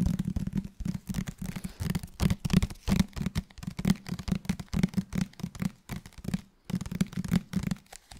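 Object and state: Paperback book.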